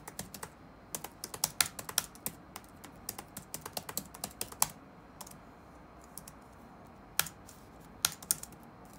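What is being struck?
Plastic laptop keyboard keys.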